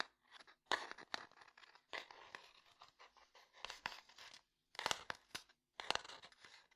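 A small, closed, rectangular light-wood domino box is tapped and scratched with fingernails. Quiet, dry taps and crisp, scratchy bursts come in irregular clusters, bright and papery in tone with no low end. Each sound dies away almost instantly, with short silences between groups.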